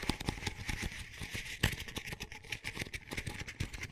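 Fingernails scratch and tap the outer wall and rim of an empty, small, hollow double-wall paper coffee cup with a textured sleeve. The result is a quick, dry run of crisp clicks and papery rustling over a faint low hollow body. The ending crossfades into more of the same cup.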